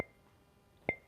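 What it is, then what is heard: Well-fired ceramic plate, crisp ring. A restaurant ceramic plate with an unbroken edge, fired at about 1300 degrees, is tapped twice. Each tap gives a crisp, bright clink with a clear ring near 2.1 kHz that fades quickly. The second tap is the louder, and the clean, pleasant ring marks it as a good-quality, well-fired plate.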